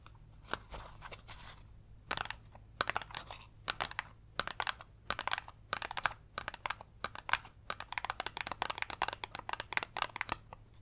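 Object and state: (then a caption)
Cardboard box tapped and scratched with fingernails. A small, hollow printed cardboard box for a Smarty Pants game, held in both hands, is tapped and scratched with long yellow acrylic nails. Quick, dry taps and scratchy, crinkly rasps come in dense bursts, bright and papery with almost no ring and little low end.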